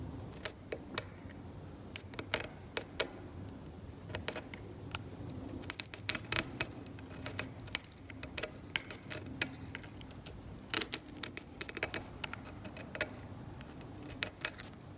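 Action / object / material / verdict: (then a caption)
scrape / metal scalpel blade on varnished oil paint on canvas / varnish / none. A metal scalpel blade scrapes the paint of a varnished oil painting on canvas in repeated strokes. Many short, sharp, bright clicks and ticks stand out over a faint, steady low hum, each dying away almost instantly.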